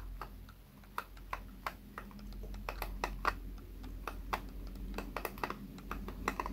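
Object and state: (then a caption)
Plastic hairbrush bristles flicked. A small pink plastic hairbrush with a cushioned pad of white pin bristles is held up in one hand while fingertips and nails repeatedly flick and scratch across the bristles. Quick, dry ticking clicks with a bright edge come at an irregular pace, each dying away almost at once over a steady low hum.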